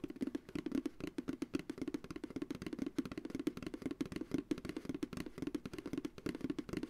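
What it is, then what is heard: Empty plastic ice cream pail. Fast fingertip tapping on the base of an empty, hollow, medium white plastic ice cream pail held upright. It makes a quick, steady run of short, dry, hollow knocks with a mid-low pitch near 300 Hz, each dying away almost at once.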